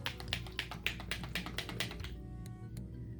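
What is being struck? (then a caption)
Small bottle of liquid makeup primer. A bottle of liquid smooth cover primer is shaken hard to remix it, since oil separated out when it was first opened unshaken. Quick, bright rattling clicks and sloshing taps repeat rapidly for about two seconds, then stop, leaving a low background hum and a couple of faint ticks.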